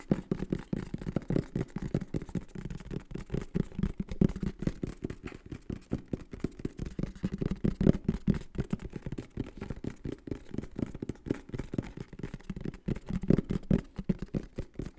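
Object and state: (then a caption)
Cardboard box. A medium-sized green and black printed cardboard product box for a microphone is held in the hands and tapped and scratched with the fingertips and nails. A steady run of quick, dull, hollow taps and soft scratches continues for about 15 seconds, each tap short with almost no ring. The sound stays low and muffled, with little brightness.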